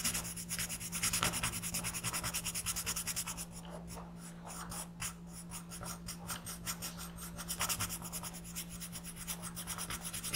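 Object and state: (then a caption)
Pencil shading on a paper sheet. A black pencil makes fast, scratchy shading strokes on the second eye of a paper coloring page lying flat on a desk. The bright, raspy strokes come in quick, uneven bursts with a brief quieter stretch near the middle, over a steady low hum.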